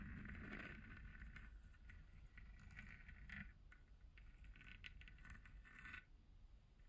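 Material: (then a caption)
Plastic. Long blue nails tap and scratch the textured, hollow 3D-printed plastic shell of a glowing spherical moon lamp held close up. Quiet, irregular crackly scratching and light ticking taps run continuously over a steady low rumble, with bright scraping bursts that flare and fade throughout.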